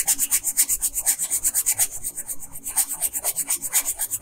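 A pink colored pencil rubs back and forth along the bottom hem of a dress on a flat paper coloring page lying on a table. It makes quick, steady, bright scratching strokes on the paper, about 21 in a row at roughly four per second. There is a high, dry hiss with little low end.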